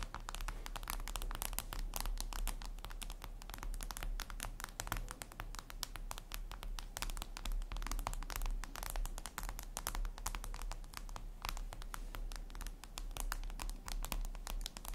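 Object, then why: Glass tablet screen. Long red nails rapidly tap and scratch a flat, glossy black reflective glass surface, likely a tablet screen. The result is a dense, continuous stream of short, crisp, bright clicks and scrapes that die away almost instantly, over a steady low hum.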